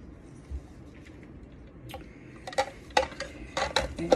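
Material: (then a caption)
Plastic. A plastic water level indicator from a Lechuza self-watering plant pot is shaken so its float moves freely inside. The float makes a series of light, irregular plastic clicks and rattles. The free movement shows the indicator is working properly.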